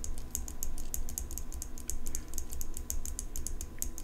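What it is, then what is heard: Steel folding pocket knife. Long pink nails tap and scratch the steel blade of an open folding pocket knife with an engraved metal handle. A quick, steady run of sharp, bright clicks rings briefly off the metal over a constant low hum.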